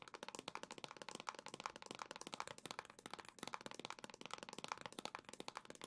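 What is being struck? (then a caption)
Plastic console dock. A hollow black plastic Nintendo Switch dock is tapped rapidly with long nails, giving a dense run of quick, dry, bright clicks with almost no ring. The taps carry a faint hollow tone around 900 Hz and very little low end.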